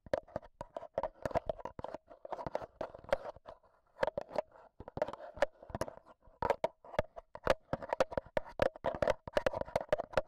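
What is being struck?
Handheld recorder's metal mesh microphone grille tapped with AA batteries.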